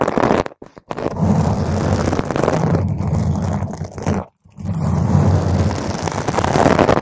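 Long pointed green acrylic nails on both hands scratch a soft, porous purple spherical foam cover, about 10 cm across, fitted over a microphone. The result is a dense, muffled, rumbling scratch weighted heavily toward the low end with almost no brightness. It runs nearly continuously, with brief silent breaks just before the one-second mark and again around four and a half seconds.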